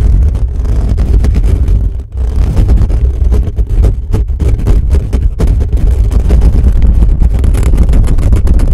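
Fingertips of both hands rapidly scratch the bare metal mesh grille of a black condenser microphone from above. The result is a dense, continuous, booming rumble of scraping, heavy in the low end with almost no high content, with a brief dip in loudness around two seconds before the scratching continues steadily.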